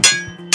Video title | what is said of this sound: JAPAN SURPLUS AS LOW AS 10 PESOS LANG MAY MABIBILI KA DITO SA SURPLUS SHOP SA AVENIDA | Maganda yung tunog. Kasi maganda kasi ang metal ito. Talagang bakal talaga.